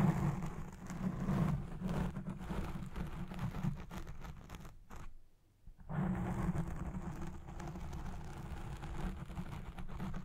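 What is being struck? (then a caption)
Foam microphone windscreen. Long red nails scratch the edges of a black foam windscreen on a Blue Yeti Pro microphone, first with both hands and then with one. The result is a dense, muffled, low rumbling scratch with almost no bright content, broken by a brief near-silent pause around the middle before the scratching resumes just as heavily.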